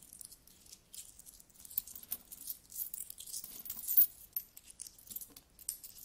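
Hands with long nails scratch and rummage through a large, spread-out pile of solid metal coins. The result is a quiet, continuous stream of bright, thin clinks and scratchy rattling with almost no low end, and a sharper clink stands out near the four-second mark.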